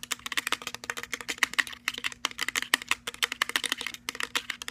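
Fingertips and nails tap and scratch quickly on a hand-sized, hollow, cylindrical JBL-style portable Bluetooth speaker made of plastic, with a black perforated metal grille and plastic end caps. Rapid, dry, clicky taps come in quick irregular bursts, bright and sharp with almost no ring, over a faint steady low hum.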